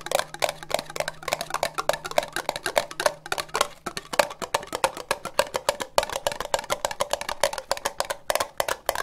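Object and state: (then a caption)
Ribbed plastic cup tapped with nails. Long nails tap quickly on an empty, hollow orange ribbed plastic cup, producing a rapid, uneven stream of short, dry clicks. Each tap carries a hollow resonance around 590 Hz with bright edges and dies away almost at once.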